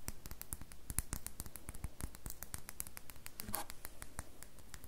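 A solid rectangular red bar of soap with a textured carved surface is held in the hands and scratched and tapped with long fingernails. Quick, dry clicks and ticks come in a dense, uneven stream over soft scratching. Each tap ends almost instantly.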